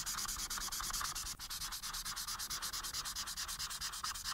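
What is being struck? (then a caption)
Felt-tip marker on a paper sheet. The felt tip of a white alcohol marker, held in fingers with painted nails, is rubbed back and forth across a thin printed Minion coloring page lying flat on a dark surface. The continuous coloring strokes make a quick, steady, bright scratchy rubbing sound with a soft pulsing rhythm. There is a brief pause just before the halfway point.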